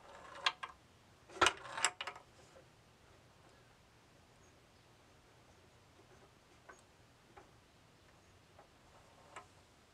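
A hand tilts a bamboo wooden labyrinth tilt-maze board, and a steel ball rolls and ticks against the wooden partitions near the top wall. A cluster of sharp, bright clicks comes in the first two seconds, followed by quiet rolling and a few sparse, light ticks.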